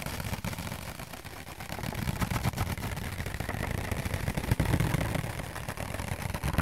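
A thin, light, empty round white disposable paper plate with a fluted rim, held up in both hands, is rapidly tapped and scratched with fingertips and nails. The result is a dense, continuous patter of quick, dull taps with a soft thumping low end and a faint papery scratch on top. The sound grows slightly louder after the first two seconds.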